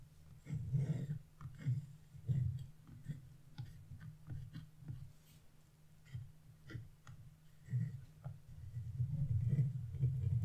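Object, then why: Wax-coated scratch-art paper scraped with a chisel. A wood-handled chisel scrapes a purple area near a star on the same wax-coated scratch-art sheet, making short scratching strokes. The strokes come in irregular bursts and sound dull and low, with almost no bright content and very little ring after each one.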